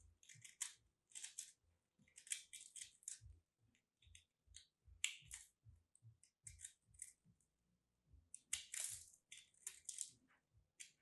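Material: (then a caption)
Soap. A craft blade cuts and scrapes into a solid lilac soap chunk with a starch coating, held in the fingers. A quiet series of bright, dry crunching bursts follows, each dying away almost instantly, as the chunk crumbles apart.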